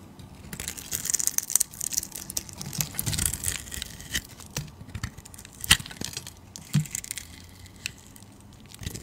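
A utility knife blade scrapes and shaves the surface of a solid white bar of soap held in the hand. The sound is a continuous run of dry, crisp, bright scraping and crackling with brief sharp ticks, plus a faint low rumble beneath.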